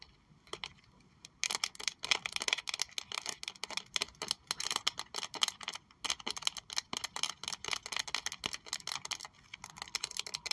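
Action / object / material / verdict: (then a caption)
tap / textured leather wallet / leather / none. Long acrylic nails tap and scratch a small pink saffiano leather Prada wallet with a metal triangle logo. After a few sparse taps, a fast, dense run of crisp, bright clicks and scratchy rasps follows, each dry and short with no low end, before easing slightly near the end.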